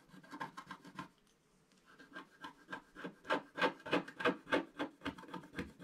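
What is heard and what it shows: A wooden stylus scratches the coating off a flat, black-coated scratch-art paper page. It makes about 17 quick, raspy strokes in a steady rhythm, with a brief pause after the first second. The strokes grow louder toward the end.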